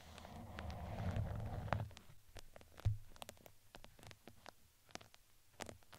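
A red fuzzy fabric crinkly ring around a microphone head has its textured side scratched with two thin wooden skewers. A dense, low, rumbling scrape fills the first two seconds. It gives way to a quieter scatter of short, sharp scratches and taps with bright crackly edges.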